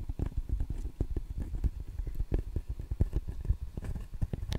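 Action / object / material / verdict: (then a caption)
tap / table tennis paddle, rubber over wood / rubber, wood / none. Fingertips and nails tap and scratch the red rubber face of a solid table tennis paddle with a wooden blade. The result is a quick, irregular run of soft, dull, low thuds that die out almost at once, with faint scratchy rustling between them.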